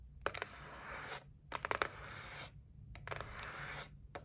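Long nails tap and scratch across the top and edges of a white cardboard gift box resting on a table. Sharp, dry clicks punctuate three longer, hissing scrapes with a bright, papery texture, and each tap dies away almost instantly.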